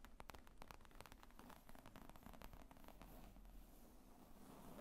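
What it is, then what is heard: Leather briefcase tapped and scratched. Long nails tap and scratch across the top of a black leather zippered briefcase lying flat, hollow and padded. The result is a quiet, fast run of soft, dull taps mixed with brief scratchy rustles, heavy in low tones with very short decay.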